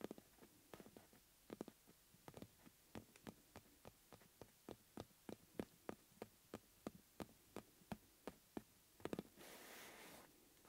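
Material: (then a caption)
Rubber. Fingertips tap and rub the taut surface of a hollow yellow rubber bellows with metal rims, held upright. A steady series of short, dull, low-pitched taps with almost no ring is followed by a quick cluster of taps, then a brief, bright rubbing hiss at the end.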